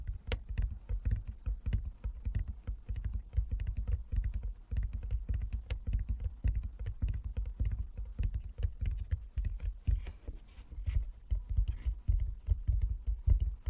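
Fingertips tap rapidly on a wooden chess board built as a box lined with fabric inside. The taps come as a dense, steady patter of soft, muffled thuds, deep and low with almost no bright edge, each dying away almost instantly.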